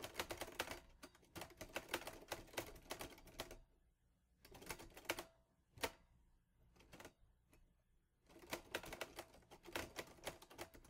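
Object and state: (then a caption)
Manual typewriter. A green-grey metal Olivetti Lettera 22 portable manual typewriter with paper loaded is typed on by fingertips, and the type bars strike with sharp, bright mechanical clacks. Quick runs of keystrokes fill the first few seconds, followed by a near-silent pause with only scattered strikes. Then steady typing resumes to the end.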